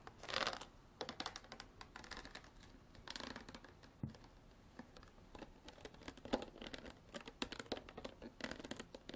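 Long black artificial nails tap and scratch the bottom and sides of a clear, ridged plastic water bottle with water inside, held up. Quick, dry clicks mix with bright, crinkly scratching bursts, the loudest near the start and around the middle. Each tap dies away almost at once.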